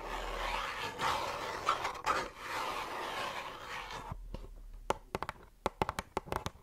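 A small, hollow pink "Wonder Rose" cardboard box is tapped on its sides and top with long nails close to the microphone. A few seconds of soft, continuous scratchy rustling give way to a run of sharp, dry taps with almost no ring.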